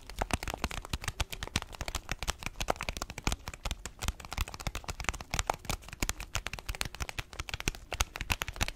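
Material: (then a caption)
Paper foil. Fingertips and nails tap and scratch the surface of an orange paper-foil coffee bag filled with beans, held horizontally. Rapid, dry crinkling clicks and brief taps follow one another densely throughout, each dying away almost instantly, with bright, crisp crackle above a soft low thump.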